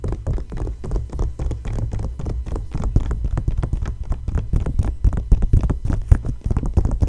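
Fingertips and long nails tap and scratch across an open glossy paper magazine fashion spread lying flat. A dense run of quick, short taps and scratches sounds throughout, heavy in dull low thumps with little high-end brightness.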